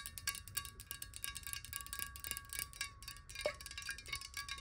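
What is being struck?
Glass bottle partly filled with water.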